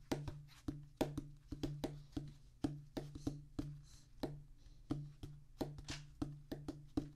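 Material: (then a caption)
Rubber. Fingertips of both hands tap and drum on a flat oval practice pad with a black rubber top on a solid, thick tan cork-like base. A quick, uneven run of short, dull thumps carries a low hum beneath, with only a faint bright edge. Each tap dies away almost at once.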